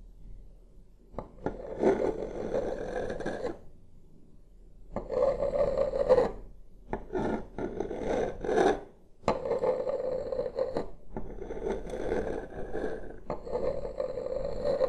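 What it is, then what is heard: Wooden tabletop scraped. Two wooden massage sticks, held one in each hand, slowly trace and scrape across a large, solid wood-grain tabletop close to the microphone. The result is a dry, rasping scrape with a steady midrange tone, heard in long strokes separated by brief pauses, with bright, gritty texture on top.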